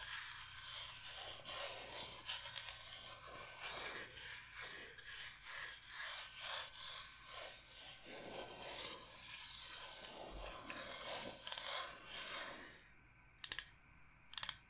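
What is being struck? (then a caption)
Bamboo cutting board. A large, flat, solid bamboo cutting board shaped like Michigan is held upright while long nails rub and scratch across its surface. The result is a continuous bright, raspy scraping with rhythmic swells. Near the end the scraping stops, leaving quiet broken by a few sharp taps.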